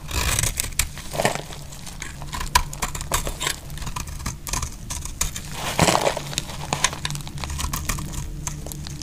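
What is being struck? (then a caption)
Soap bar scraped with a metal blade. A metal blade scrapes shavings off the surface of a dry, solid orange soap bar held in hand. Dense, crackling scrapes and sharp, bright clicks come in quick bursts over a low, steady rumble. Each click dies away almost at once, and a louder rush of scraping swells near the end.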